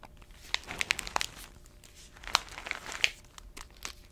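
An orange paper-foil coffee bag with a black bottom band, about 25 cm tall and filled with coffee beans, is held and squeezed with both hands and long nails. It gives bright, dry crinkles with sharp crackling snaps and faint shifting of the beans inside. The snaps cut off almost instantly, with soft rustling between them.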